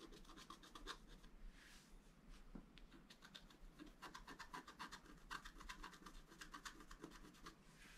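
A wooden stylus scratches details at the top of the design on a flat scratch art paper card. Quick, short, bright scratching strokes repeat in rapid bursts over a steady low hum.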